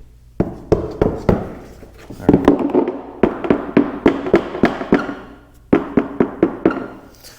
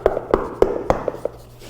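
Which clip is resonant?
The first.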